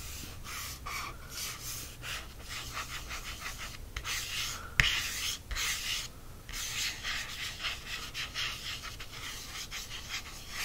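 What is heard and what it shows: A fingertip traces and taps the glossy cardstock front cover of a large softcover paperback embroidery book, a solid stack of paper lying flat on a fleece blanket. Soft, bright rubbing swishes rise and fall throughout, broken by a sharp tap near the middle and a few dull, quick knocks.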